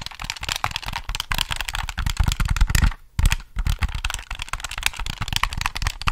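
Fingertips tap and click the buttons and triggers of a hollow black plastic Sony PS3 controller held in both hands. The result is a rapid, steady run of dry plastic clicks and taps, each with a low thump and a bright click on top, broken by a brief pause near the middle.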